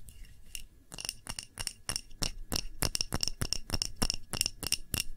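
Long nails tap the rim and sides of a clear glass tumbler holding a red wax candle. About nineteen quick, irregular taps each give a bright, short glassy clink with a ringing tone near 2.8 kHz and higher overtones, dying away almost at once.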